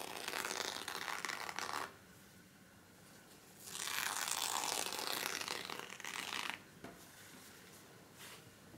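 A loose stack of folded thin white paper napkins on a wooden table is pressed, rubbed and flipped by fingertips, with an emptied pack lying untouched nearby. Bright papery rustling and crinkling comes in bursts, the longest in the middle, separated by quiet gaps.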